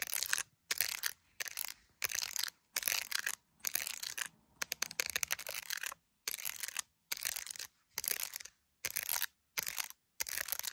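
Long acrylic nails tap and scratch the top of an iPhone's clear plastic case, which holds resin gummy bears, and its camera lenses. Short bursts of bright, crisp clicking and scratchy rasping are separated by brief silences, each tap dying away almost instantly with no low-end body.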